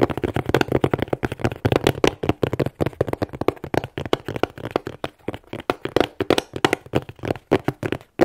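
Fingernails tap rapidly on the front face of a plain, closed, hollow corrugated cardboard shipping box held in both hands. Dozens of dry, quick taps with a hollow midrange knock die away almost instantly, in a steady rhythm with brief pauses.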